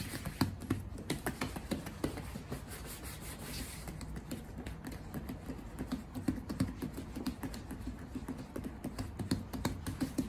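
Fingertips and a palm rapidly rub and buff the leather of a black lace-up Red Wing Iron Ranger ladies' work boot worn on the right foot. A steady, soft, low scuffing is heard, broken by quick dry light taps and brushing clicks with faint bright edges.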